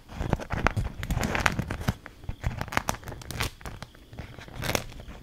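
A thin, stiff, patterned beeswax-coated cloth food wrap is held up, folded and crinkled with fingers and long nails. Dense crackling and crinkling fill the clip in quick, sharp bursts over a low rustle, busiest in the first two seconds and swelling again near the end.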